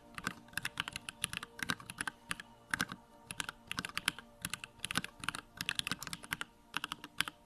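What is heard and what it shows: Fingertips type rapidly on a small 65% Bakeneko65 mechanical keyboard with Durock lavender switches, a plastic case, white plastic keycaps and the backlight on. The result is a fast, uneven stream of sharp, bright plastic clacks with little low end, each key stroke dying away almost instantly against a quiet background.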